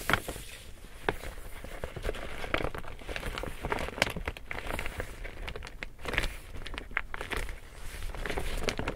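An empty large pink woven plastic tote bag is held up while fingers scratch and tap its surface. The result is a steady, dry crinkling and crackling texture, broken by brief sharp taps and bright rustling that fade almost instantly.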